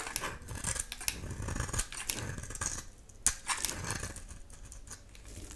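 A solid oval bar of dry soap, painted pink with an amber translucent interior, is held in the hand and shaved with a utility knife blade. Repeated crisp scraping and cutting strokes give bright, high crackles over a soft low rustle, with a few sharper snaps standing out.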